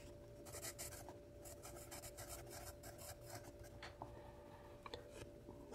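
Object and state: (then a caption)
Pencil writing on a paper notepad. A yellow wooden graphite pencil held in the hand writes across the page of a small lined paper spiral notepad with a red cover, lying flat on a wooden table. Soft, bright scratching strokes rise and fall over a faint steady hum, with a few sharper ticks near the end.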